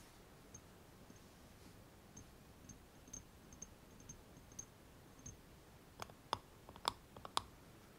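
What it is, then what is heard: Metal cream jar lid. Fingernails tap and scratch the flat round metal lid of a closed small cosmetic cream jar standing on a foam mat. Quiet, light, high clicks come at an uneven pace at first, then about fifteen taps in all build into sharper, brighter ticks with a short metallic edge near the end. Each tap dies away almost instantly.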